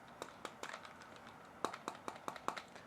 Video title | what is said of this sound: Sony WH-CH710N Unboxing - $80 Active Noise Cancelling Headphones | a little bit more dense and rugged, I would say